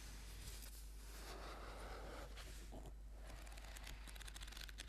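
Fingertips and nails tap and scratch the cover of a thick orange paperback book lying flat. Soft, dry scratching and light taps blend into a quiet, continuous crinkly texture with brighter rustling bursts. A steady low hum runs underneath throughout.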